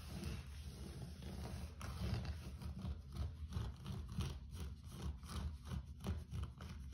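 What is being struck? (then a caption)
Low-pile carpet floor. Fingertips and nails quickly scratch and rub across a low-pile grey carpet floor, making a soft, dull scraping and rustling sound. The sound is mostly low and muffled, with faint brushing strokes that come in quick repeated bursts.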